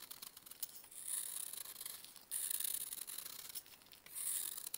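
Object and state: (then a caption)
Pressed baking soda block being scraped. A metal knife scrapes and carves a solid pressed baking soda block held in a purple-gloved hand, sending crumbling flakes falling. The sound is a dry, bright, gritty scraping in repeated strokes, with faint crackles between them and almost no low end.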